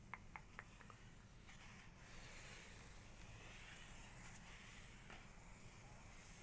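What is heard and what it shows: Fingertips and long nails tap on the glossy printed page of an open hardcover photography book, with both hands resting on the paper. About four quick, bright clicks open the clip, then the sound turns into a steady, soft rubbing hiss over a low background rumble.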